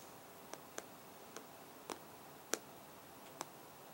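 Fingertips and short nails tap on the hard glass touchscreen of an iPad lying flat in a black case, a solid device. Six separate, crisp, bright ticks land at uneven intervals over a quiet background. Each one dies away almost instantly.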